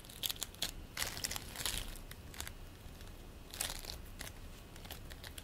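Fingers pinch, pull and squeeze green play foam made of polystyrene beads into a ball. Bursts of bright, dry crinkling and crackling come in clusters over a faint low rumble, each snap dying away almost at once.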